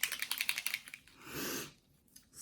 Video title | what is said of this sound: Alcohol Ink on Duralar | you have to shake it until you hear that ball